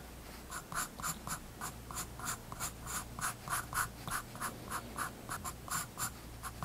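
A graphite pencil scratches about 16 short line strokes across a spiral-bound paper sketchbook page resting on a wooden desk. Each stroke is a quick, dry rasp centered around 1.3 kHz with a bright, hissy top, arriving at an uneven pace over a faint steady low hum.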